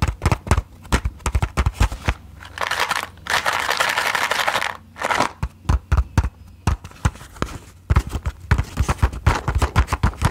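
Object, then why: Closed cardboard matchbox. Long nails tap quickly on the flat sides of a closed cardboard matchbox, making rapid, dry clicks with a low, hollow thump beneath each one. Midway through, the tapping gives way to a few seconds of steady, bright scratchy rubbing before the quick tapping resumes.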